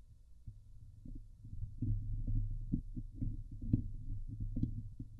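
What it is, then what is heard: Metal mesh microphone grille. Long nails scratch intermittently across the hollow steel mesh grille of a Blue Yeti microphone, with hands hovering near it at times. The scratches come through as dull, bassy thumps and rustles on top of a steady low hum, with a few brighter scrapes standing out.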